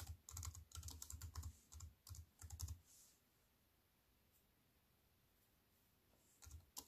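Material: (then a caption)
Plastic, aluminium. Fingertips with long nails type on a slim wireless keyboard with plastic keys in an aluminium frame, resting on a wooden table. Quick bursts of bright, crisp key clicks with soft low thumps fill the first three seconds. After a quiet pause, typing resumes briefly at the end.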